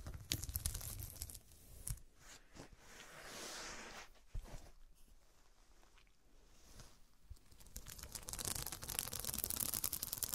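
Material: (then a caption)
Glass. Long dark pointed nails scratch the square faceted glass studs covering a fabric cushion, making dry, crinkly rasps with a low rumble underneath. Scratching comes in uneven bursts, softens to a hushed, breathy scrape in the middle, then returns as dense, bright, rapid scratching toward the end.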